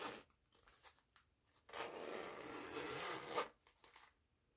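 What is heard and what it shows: Fingertips with long nails work the pull of a purple nylon coil zipper on a small, soft printed fabric cosmetic pouch with a purple and orange mandala pattern, zipping it open and closed. A few quiet ticks and rustles lead into one long, steady raspy zip that ends in a sharper click, followed by soft fabric handling.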